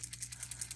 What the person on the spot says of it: shake it and hear that ball rolling